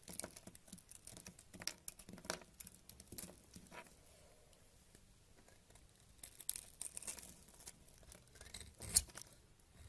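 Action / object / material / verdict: scrape / solid bar of soap scraped with a knife / soap / none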